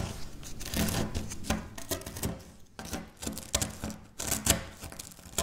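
Crumbled dry wafer biscuit pieces are pressed and crushed by long-nailed fingertips on a stone surface. A steady run of dry, crackly crunches and crinkles with bright snaps, rising and falling in bursts, with short gaps between presses.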